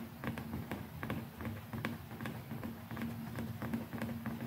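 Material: Plastic.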